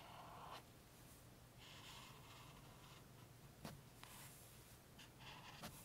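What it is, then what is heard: Highlighter strokes on book pages. A thick green chisel-tip highlighter makes long strokes over the printed words of an open softcover paperback book with thin paper pages, lying on a table. Its felt tip rubs across the paper in soft, breathy scratching swishes over a low hum. Four brief, sharp ticks stand out along the way.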